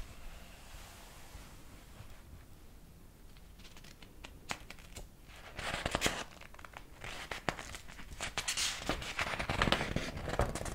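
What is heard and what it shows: Fingers repeatedly flip the yellowed paper pages of a large old hardcover book held open in the hands. Soft, quiet rustling in the first few seconds gives way to louder, crisp page turns and bright crinkling crackles. The flips come in an uneven rhythm through the second half.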